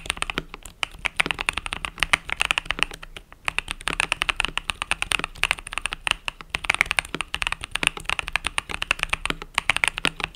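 Fingertips type rapidly on the plastic keys of a compact mechanical keyboard with pastel purple and yellow keycaps. The result is a dense, continuous run of short, bright clicks and clacks with very little low end, rising and falling with brief pauses between bursts.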